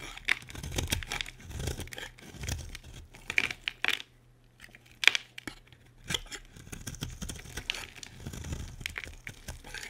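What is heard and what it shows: A metal utility blade carves a solid, dry, light pink bar of soap held in the hand, producing repeated crisp scraping and cutting sounds. The shavings give off a bright, crumbly tearing texture with sharp clicks as the blade catches. The cuts continue in steady bursts, with a brief quiet pause midway.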